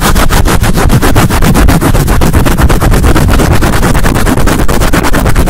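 A black soft foam windscreen fitted over a condenser microphone head is rubbed and scratched quickly with long nails and fingertips, a scratch-and-rub action rather than tapping. The result is a loud, continuous, bass-heavy rumble of rapid, rhythmic scraping strokes, with little high-end content.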